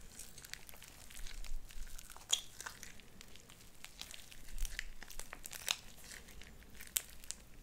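Light-blue sticky slime with white beads is pressed between hands and squeezed with fingertips and nails. It makes soft, irregular crinkling and crackling with scattered sharp, bright pops and clicks over a faint low rumble.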